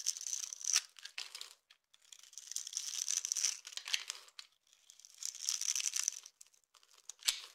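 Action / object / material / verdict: scrape / bar of soap / soap / none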